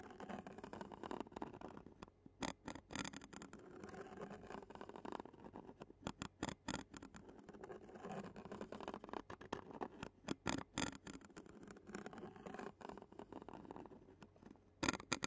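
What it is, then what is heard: Metal mesh microphone grille scratched and tapped. A clear plastic spoon scratches and taps the black metal mesh grille of a handheld Zoom recorder. Close, dense scraping runs throughout, broken by sharp, bright taps and clicks that die away almost instantly, with a burst of louder taps near the end.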